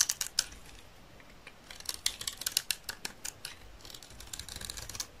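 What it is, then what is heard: Dry soap bar being shaved. A hand-held solid green dry soap bar with a red edge is shaved by a utility knife blade that scrapes its surface into curls. A quick series of short, dry, crisp scraping clicks with bright, high tones is heard, each dying away almost instantly over a quiet background.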